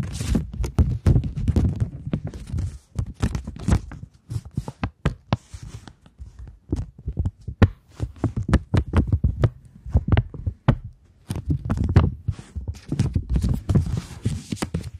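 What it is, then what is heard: Polymer £20 banknote. A thin polymer £20 banknote, held flat in both hands, is tapped and scratched with long nails. Quick, dull low taps and thumps come in dense bursts, mixed with brief crisp, bright scratches, with short pauses between flurries.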